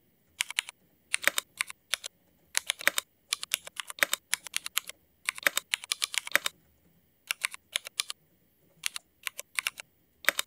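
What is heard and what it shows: A mechanical keyboard with black ABS plastic keycaps and Cherry MX switches is typed on with the fingertips of both hands. Bursts of quick, sharp, bright clicks come in runs separated by short pauses, each keystroke dying away almost instantly with no low rumble.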